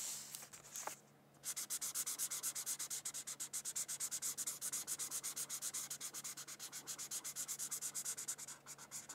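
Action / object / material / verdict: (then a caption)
scrape / felt-tip marker on thin paper / paper / none. A red felt-tip marker rubs back and forth across a thin white paper coloring sheet. After a few soft strokes and a brief pause, it settles into a fast, steady run of about 66 bright, scratchy strokes, each a crisp hiss with almost no low end.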